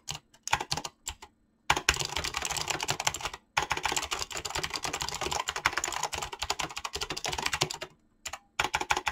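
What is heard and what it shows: A Razer mechanical keyboard with clicky green switches and pink-blue gradient PBT plastic keycaps is typed on rapidly by fingertips. The result is a dense stream of short, bright key clicks in bursts, broken by brief pauses.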